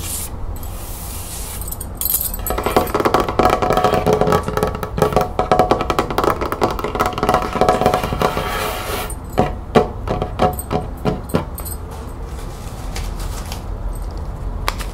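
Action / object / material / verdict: tap / wooden table top / wood / none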